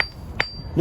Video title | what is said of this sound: Mayan Mountain Jadite Jade & Honduran Black Matrix Opal Tucson Gem Show 2022 Red Lion Gem Show | a metallic sound when you tap on it different from the other stones